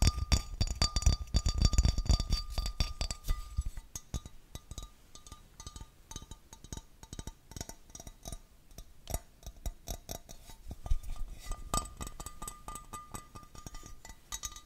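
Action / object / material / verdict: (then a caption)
tap / small textured glass vase / glass / none. A small, clear, textured glass vase, hollow and empty, is turned in the hands and tapped with fingertips and nails on its sides and rim. Quick, irregular light taps and bright clinks follow one another, with a faint ringing tone behind them. The tapping is loudest and heaviest in the first few seconds, then settles into softer, scattered ticks.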